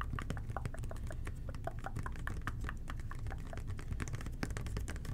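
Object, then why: Plastic toilet cleaner bottle. A red and white plastic toilet cleaner bottle with a blue nozzle is tapped gently with the fingertips of both hands. Quick, soft, dull plastic clicks and taps patter continuously over a steady low, muffled background hum.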